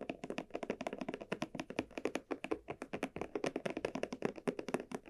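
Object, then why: Textured leather barrel bag. Long nails tap and scratch the surface of a small red croc-embossed leather barrel bag with dark straps while the bag is held and turned. About 39 quick, dry, closely spaced taps sound, each with a muted midrange knock and very short decay, mixed with light scratching.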